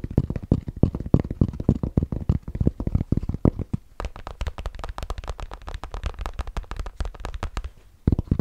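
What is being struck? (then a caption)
Fabric trucker cap with stiff crown. Fingertips scratch and tap a grey Bass Pro Shops fabric trucker cap with a stiff fabric crown and a patch, held close to the mic. Rapid, dull, low thumps with a scratchy texture fill the first half. After about four seconds they turn lighter and brighter, then a short pause ends in a final burst of firmer taps.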